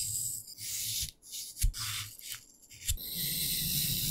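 A thin pen-like stick pokes and scratches into the top face of a palm-sized, solid green-grey floral foam brick (phenolic foam) lying on a dark surface, carving holes and grooves and leaving crumbly dust. Bright, gritty scraping and rasping bursts alternate with brief pauses, punctuated by a few short, dull pokes with a soft low thud.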